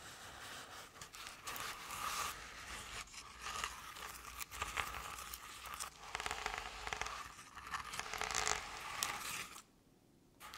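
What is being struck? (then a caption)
Paper-covered decorative pumpkin. Long painted nails scratch the sides of a medium artificial jack-o'-lantern covered in crinkled orange paper. The result is a steady run of bright, crinkly scraping and rustling with small swells and scratchy bursts. Near the end it drops to near silence for about a second before the scratching resumes.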